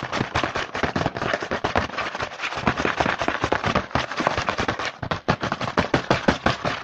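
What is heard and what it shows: A printed cardboard Hanuta chocolate bar box is held in one hand while the fingertips of the other hand tap and scratch fast on its front panel. The result is a dense, rapid stream of dry, crisp, papery clicks and scrapes that die out almost instantly, with bright hollow taps of uneven loudness throughout.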